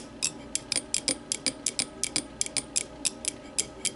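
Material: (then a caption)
Glass. Long matte nails tap and scratch the sides of a small, empty, clear glass whiskey tumbler resting upside down on a wooden table. Eighteen quick, bright clicks follow one another in an uneven rhythm, each dying away almost at once over a faint background hiss.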